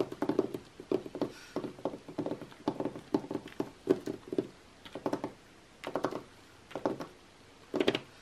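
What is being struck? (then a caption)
Glossy paper magazine. Long nails tap and scratch quickly across the same page spread of an open glossy magazine, with thin coated paper, lying flat on a table. Clusters of short, dry taps and brief papery scratches come in irregular bursts, each centered low-mid around 375 Hz with quick decay. Quieter pauses fall between the bursts.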